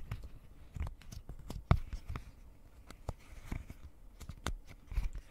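Long painted nails tap and scratch across a pastel rectangular silicone pop-it fidget toy with hollow bubbles. The result is a quiet run of soft, dull, low thuds with brief scratchy bright ticks, each dying away almost instantly.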